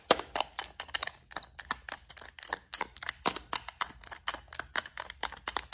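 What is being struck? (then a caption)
Small clear plastic compartment case. Long nails tap and scratch along the lid of a long clear plastic compartment case holding gold beads. About thirty quick, sharp, bright clicks come in an uneven rhythm, each dying away almost instantly, with faint scraping between them and almost no low end.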